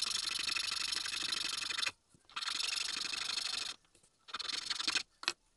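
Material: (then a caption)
Wood. A small, solid, pale wooden Tengu keychain mask blank, pressed flat on a green mat, is filed first with a needle file and then with a larger flat metal file. Three long, bright, hissy rasping strokes are separated by short pauses, followed by one brief final scrape.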